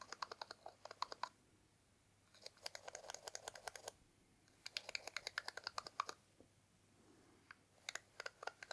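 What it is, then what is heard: Cardboard box tapped with a toothpick. A wooden toothpick scratches and taps along the top edge and lid of a small, hollow orange cardboard box held in one hand. Rapid, dry, bright clicks come in three bursts separated by quiet pauses, followed by a few scattered taps. Each click is short with almost no ring.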